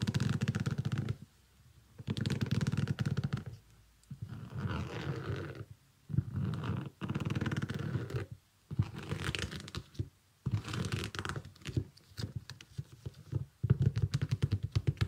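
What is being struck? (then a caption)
Small synthetic leather sneaker with rubber sole. A small, shiny iridescent synthetic leather sneaker is held in both hands while fingernails scratch and tap its upper and the edge of its rubber sole. The result is dull, low-heavy bursts of rubbing and scratching, broken by short silent pauses, with quick soft taps near the end.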